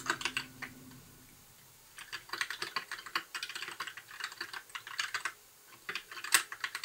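Fingertips type on a compact white mechanical keyboard with plastic keycaps, producing quick, bright, clicky keystrokes with very short decay. A short burst of typing is followed by a brief pause, then a steady run of keystrokes, another short pause, and a final flurry with one sharper clack.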